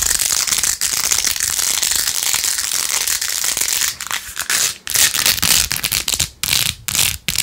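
Long acrylic nails fast-scratch across rows of pink plastic pearl beads glued onto a handheld, rose-gold-edged plastic phone case. The result is a dense, bright, crackly scratching that runs almost nonstop for the first four seconds. It then breaks into quick bursts separated by short silent gaps.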